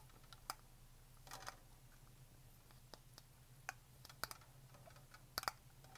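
Long painted fingernails tap along the body and lid of a black Blender Bottle shaker bottle, a hollow plastic bottle about 20 cm long held horizontally in both hands. The taps are sharp, dry, bright clicks that die away almost instantly, some alone and some in quick pairs or short clusters. They sound over a faint, steady low hum.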